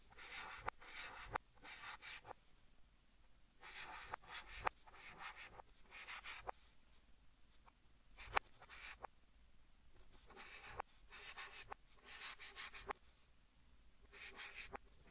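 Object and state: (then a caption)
Chalk writing on a chalkboard. A white chalk stick held in the fingers rubs and writes across a large, flat green chalkboard set in a wooden frame, played backwards. Bursts of dry, scratchy, bright strokes alternate with quiet pauses, punctuated by short, sharp taps.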